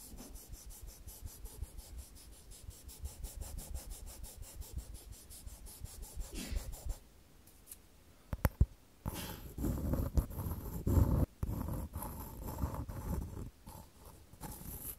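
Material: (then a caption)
Wood. Long decorated false nails tap and scratch a small, light-colored solid-wood frame made of square-section sticks, held up close to the recorder. For about the first seven seconds they make a steady run of quick, soft, dull taps. After a brief quiet, louder, rougher scratching and rubbing follows with a few sharper clicks.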